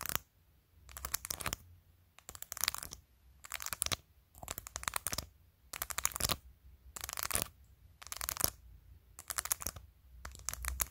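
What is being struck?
Plastic phone case with acrylic press-on nails.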